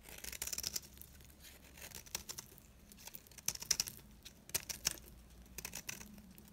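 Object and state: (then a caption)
Dry soap bar scraped and cut with a blade. A metal blade scrapes and cuts into the surface of a solid, dry, round green soap bar held in the hand. The result is a run of crisp, bright scraping and crumbling crackles in uneven bursts, with sharper snaps near the middle and end over a faint low hum.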